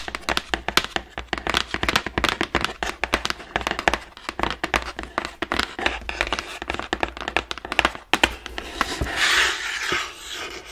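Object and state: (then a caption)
Cardboard box tapped with nails. Long nails and fingertips tap quickly across the surface of a large, hollow, printed cardboard Ring Fit Adventure game box, making dense, crisp clicks and dry taps with a bright edge and almost no ring. Near the end, the tapping eases into a softer, continuous brushing rustle.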